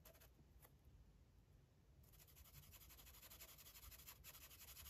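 A red felt-tip marker rubs back and forth across an open paper coloring book page lying flat on a table, held with one hand, filling in colour. Continuous scratchy scribbling strokes with bright, high hiss over a low rumble. The strokes start softer and grow louder and denser after about two seconds.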